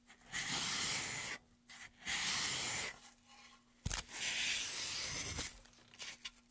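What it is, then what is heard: Wooden pen tray, scraped. A gloved hand scrapes a small tool along the carved hollow of a wooden pen tray, a solid light wooden board held upright. Three long, bright, rasping strokes are heard, with shorter scrapes and a sharp knock between them, and a faint steady low hum in the pauses.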